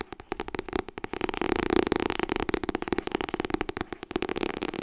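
Long nails tap rapidly on the cover of a white softcover copy of *Getting Things Done*. The result is a dense run of short, dry clicks with a hollow papery tone around 370 Hz and almost no ring. The tapping swells slightly louder in the middle of the clip.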